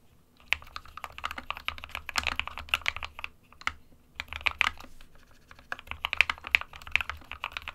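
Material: Plastic.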